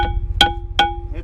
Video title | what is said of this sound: WINTER TRUCKING TIPS | the hollow sound. You can hear it kind of ring through there